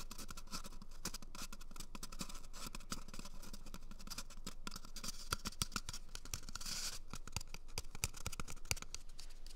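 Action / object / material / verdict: scrape / cardboard toilet paper tube / cardboard / none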